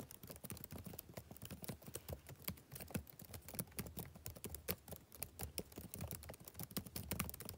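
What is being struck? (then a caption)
Plastic laptop keyboard. Fingertips type rapid taps on the plastic keys of a backlit laptop keyboard. Each keystroke is a short, dry click with a soft low thud beneath and a bright tick on top, dying away almost at once. The taps run in a quick, uneven, steady stream throughout.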